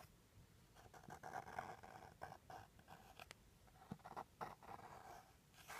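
A small turquoise Tiffany & Co. cardboard gift box with a lid, likely empty, is tapped and scratched with short fingernails and fingertips. Quiet, irregular taps and dry scratching strokes come in quick clusters, with a papery mid-range tone around 750 Hz. Each sound dies away almost at once.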